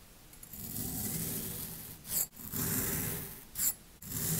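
A metal blade tool with a yellow handle is pushed down into a short clear glass tumbler packed full of multicolored kinetic sand, cutting and scraping through it. Three gritty, crunchy scraping passes are heard, each with a soft low rumble and a bright sandy hiss, with brief sharper bright scrapes between passes.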